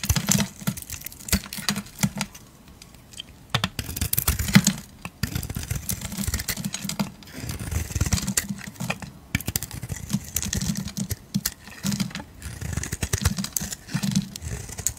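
A metal utility blade scrapes blue flakes off a solid, hand-held oval soap bar with a purple coating and a blue core. The sound is a dense run of quick, crisp, dry scraping ticks with a bright edge and a soft low body, broken by brief quiet pauses between bursts of strokes.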